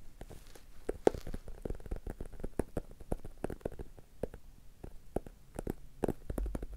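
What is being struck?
Hardcover book cover.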